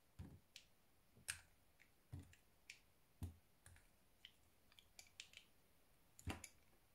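A small metal knife shaves thin curls from a solid white soap block held in the fingers. A series of quiet, crisp cutting and scraping clicks come at an uneven pace, each with a soft low thud and a bright edge. They stop quickly with almost no ring.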